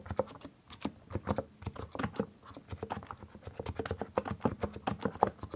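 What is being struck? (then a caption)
Mechanical keyboard with plastic keycaps. Both hands type with their fingertips on a compact mechanical keyboard with a white case and colored plastic keycaps. The clip is a steady run of short, dry clicks and clacks with a slightly hollow plastic tone and no ringing after each keystroke.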